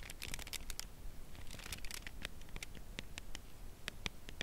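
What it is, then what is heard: Cardboard chocolate bar box tapped with nails. Long press-on nails tap and lightly scratch the printed surface of a Lindt Caramel chocolate bar in its closed cardboard sleeve, held on edge in both hands. Quick, dry, bright ticks and soft scratchy rustles come in an irregular stream over a quiet low rumble.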